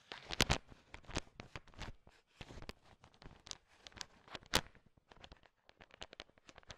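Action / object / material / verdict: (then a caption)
scrape / heap of sugar-coated peanut chocolate candies / candy shell / none. A heap of small, hard, sugar-shelled candy-coated peanut M&Ms is stirred and poked with a thin wooden stick. Irregular dry clicks, rattles and brief crunchy scrapes sound as the candies knock together, each tick sharp and bright with almost no ring. Quiet pauses fall between the bursts.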